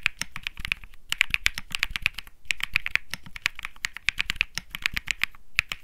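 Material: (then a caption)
Plastic. Rapid typing with both hands' fingertips on a 65% Think 6.5 mechanical keyboard with Bsun Lollipop switches and plastic keycaps. It makes a dense stream of short, bright, clacky keystrokes that stop instantly, with a soft low thump under each one. The typing comes in quick bursts separated by brief pauses.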